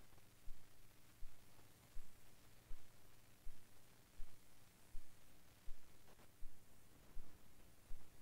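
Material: Nothing is struck.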